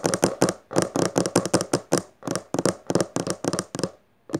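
Long fingernails, first of one hand and then both, quickly tap and scratch the textured maroon cover of a closed hardcover book lying on purple fabric. The result is a fast, uneven stream of short, crisp clicks and scrapes with a dull mid-range body and a bright edge, each dying away almost at once. A brief silence near the end is followed by one last burst.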